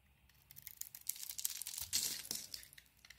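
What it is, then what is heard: Bar of soap being carved. A beige Penaten solid bar of soap, held in the hand, has its surface carved off with a blade to reveal a white interior. The sound is a quiet, crisp, bright scraping and crackling with irregular small clicks, swelling in the middle before fading away.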